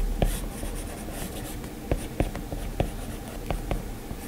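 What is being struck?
Plastic stylus on glass tablet screen.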